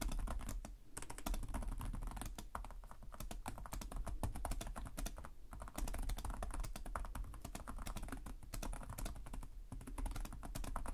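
Fingertips of both hands tap rapidly on the low-profile plastic chiclet keys of a black laptop with a hollow body, producing continuous typing. The quick, dry clicks come in a dense stream with a soft, hollow low thud beneath them and almost no ring after each key. The typing is briefly interrupted by short lulls.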